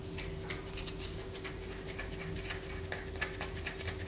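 A palm-sized solid bar of white soap is held in the hand and scratched with long fingernails, shavings falling onto a paper poster. About eleven short, bright, scratchy strokes stand out over a steady low hum and a faint constant tone. The scrapes are crisp and dry, with almost no ring after each one.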